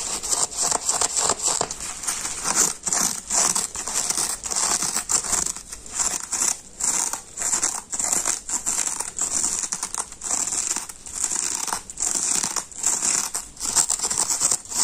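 A palm-sized teal foam kitchen sponge with a green abrasive scouring pad, soft, porous, wet and covered in soap foam, is held in both hands, scratched and rubbed across the scouring side with the fingertips, and squeezed. Dense, bright crackling and crinkling scratches come in rapid uneven bursts with short pauses. The sound is almost entirely high, with very little low end.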